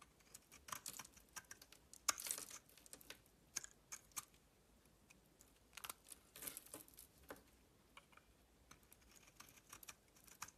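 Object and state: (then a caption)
Bar soap being shaved with a blade. A metal utility knife blade shaves and scrapes curls off a palm-sized, hand-held bar of solid soap with a red coating and a white interior. The clip is a quiet series of crisp, bright scraping and crackling strokes with almost no low end, with a louder, longer scrape near the two-second mark. Each stroke cuts off sharply, with no ring afterward.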